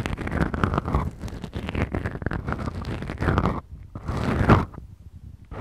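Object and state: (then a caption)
Foam microphone windscreens scratched. Fingertips and nails of both hands scratch and squeeze two small black foam windscreens on a Tascam recorder. The result is a dense, muffled, low-heavy scraping and crunching with quick rustly strokes. It dips quieter partway through, then swells to a louder burst before trailing into sparse scratches.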